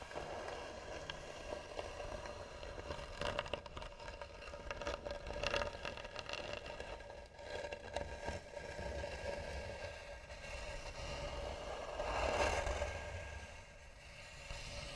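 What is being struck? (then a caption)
Carved wooden box. Long nails scratch slowly and hard across the flat lid of a hollow, tan carved wooden box. The result is a continuous dry, rasping scrape with a hollow resonance centered around 560 Hz, swelling in intensity at moments along its length.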